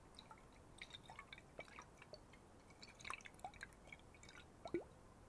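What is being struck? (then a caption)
Glass bottle with water. A glass water bottle holding water is sloshed and shaken, giving quiet, scattered drip-like plinks and gurgling bubble sounds with short rising tones. Occasional soft clunks against the glass stand out, with the loudest near the end.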